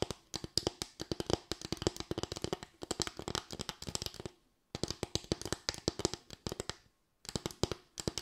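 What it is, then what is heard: Bamboo slatted board. Long white nails tap and scratch quickly across a small, light bamboo board of solid wood with raised slats. The sound is dry, clicky and hollow, with a woody tone around 360 Hz and bright edges. It comes in three bursts separated by brief silences, and each tick dies away almost instantly.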